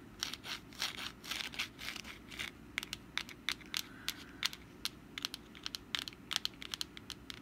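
Long black nails scratch the crinkled surface of a hand-sized, rust-brown papier-mâché pumpkin decoration held in the hand. Longer dry, papery rasps give way to a quick run of short, crisp, bright scratches that stop instantly, with no ring, over a faint steady background.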